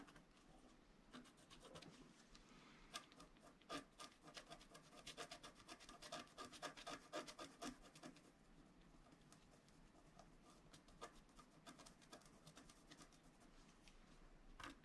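A wooden stylus scratches dense, short strokes into the lower area of a flat scratch art card made of black-coated paper board. The result is quiet, irregular, rapid dry scratching and rasping with bright, crisp edges, busiest and loudest between about 3 and 8 seconds, with a final sharper scrape at the end.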